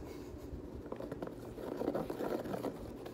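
Fingers scratch the flyknit textile upper and handle the laces of a multicolor Nike Kobe 9 high-top, a hollow knit fabric sneaker with a foam sole. A soft, continuous low-mid scratching and rustling is heard, with brief scrapes swelling a little louder toward the middle.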